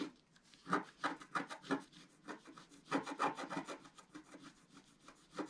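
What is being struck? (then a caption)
Coated scratch art paper and wooden stylus. A wooden stylus stick repeatedly scratches a flat, black-coated scratch-art paper sheet lying on a table. It makes quick, uneven raspy strokes with bright, papery scraping centred around 1.2 kHz, each dying away almost at once.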